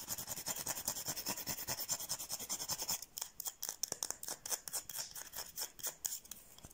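Long painted nails quickly scratch and tap a solid white oval bar of soap, palm-sized and held in the hand. For about three seconds there is a dense, bright, rapid scratching. It then breaks into sparser, crisp ticks and short scrapes with very little low end.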